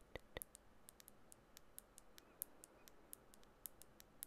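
Long bare natural fingernails tap the glass body of a small clear 15 ml glass nail polish bottle with a black plastic cap, partly filled with clear polish and held in one hand. About twenty quiet, bright, very short clicks sound at an uneven pace over a low background hiss; the first two have a fuller, more ringing body.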